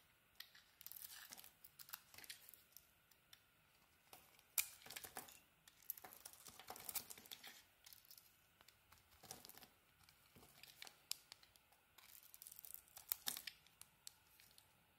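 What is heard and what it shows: A solid pink bar of soap with a purple edge is held in the hand and shaved with a utility knife blade. Quiet, bright, crinkly scraping comes in short bursts and longer strokes, each stopping dry with almost no ring.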